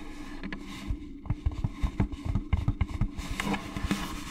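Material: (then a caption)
Plastic. Long gloved nails tap and scratch the sides of an orange hollow plastic jack-o'-lantern candy bucket held close to the mic. Quick, dull, hollow taps land in an uneven rhythm, with soft scratching between them over a steady low hum. Each tap is bass-heavy and dies away almost at once.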